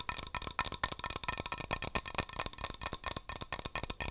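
A hand-sized Barbasol aerosol shaving cream can, metal with a plastic cap, is tapped and scratched with long nails. The result is a quick run of about seventeen sharp, bright clicks and scrapes with almost no ring between them, dominated by high, hissy tones and very little low end.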